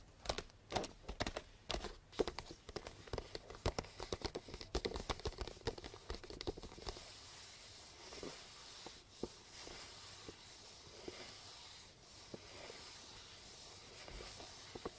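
Long blue nails tap and scratch the pink star-print wrapping paper of a small, hollow cardboard gift box tied with a purple ribbon and resting on a table. For about the first seven seconds, quick, crisp taps come in dense clusters. After that, the sound shifts to a steady, papery scratching with only occasional sharp taps.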